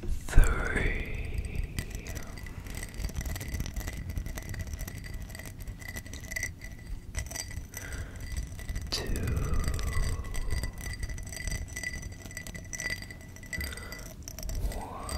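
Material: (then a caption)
Glass. A small, hollow, empty clear cut-glass tumbler with a faceted pattern is held in the hand and tapped with fingertips and nails. Soft, rapid clicks and taps run throughout over a low rumble, with a steady glassy ring near 2 kHz and a few sweeping tonal glides at the start, middle and end.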